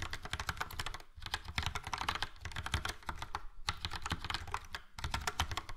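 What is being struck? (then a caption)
Plastic mechanical keyboard with round keycaps. Fingertips of both hands type quickly on a full-size plastic mechanical keyboard, a Logitech POP Keys with a yellow frame and round dark grey and light grey typewriter-style keycaps. The result is a steady stream of short, clacky keystrokes with a low, thumpy body and bright click tops, broken by a few brief pauses.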